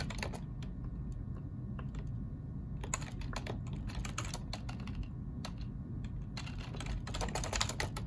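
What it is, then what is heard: Plastic computer keyboard being typed on. Both hands type with their fingertips on a black plastic ergonomic computer keyboard, making bursts of quick, bright key clicks with short pauses between them. A steady low hum runs underneath the whole time.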